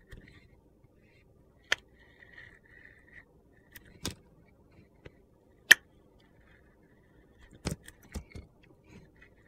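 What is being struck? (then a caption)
Soap bar with a glitter layer. A metal utility knife blade scrapes the purple glitter layer off a hand-sized, solid orange soap bar held in a hand, peeling it away in strips. Sharp, crisp scraping clicks and gritty crackles come in scattered bursts over a faint thin whine near 2 kHz, with the loudest snaps sounding bright and brief.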